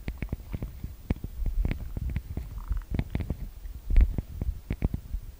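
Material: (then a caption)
Metal mesh. Fingertips and long nails tap and scratch the metal-grille microphone capsules of a TASCAM DR-40X recorder. Close, boomy low thumps arrive in a quick, uneven stream, each tap carrying a brief bright click or scratch on top. A short faint tonal buzz sounds midway through.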